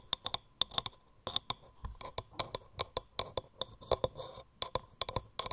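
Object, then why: Turned wooden mortar. A hollow turned wooden mortar is gripped in both hands while long nails tap and scratch quickly on its grooved wood. Around 26 quick, dry, bright clicks come in an uneven rapid run, mixed with brief scratchy rasps. Each tap dies almost instantly with no ring.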